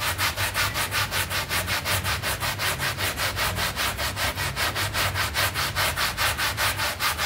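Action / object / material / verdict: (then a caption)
scrape / synthetic pile carpet mat scrubbed with a hand brush / synthetic pile / none. A small rectangular synthetic pile carpet mat, wet and soapy and lying flat on the floor, is scrubbed with a red hand brush with dark bristles. Steady back-and-forth strokes, a little over two per second, make a bright, hissy bristle scrub over a soft low rumble.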